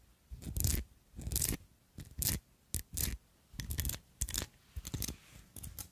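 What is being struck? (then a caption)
Glass perfume bottle with raised metal filigree. Long acrylic nails scratch and tap the textured decoration of a small glass perfume bottle covered in ornate gold metal filigree with red jewels and a tall gold stopper. The result is irregular, short bursts of bright, scratchy clicking and rasping over a soft, low thump, with quiet pauses between them.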